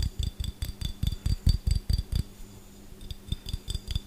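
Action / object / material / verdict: tap / small glass jar with metal lid / glass / none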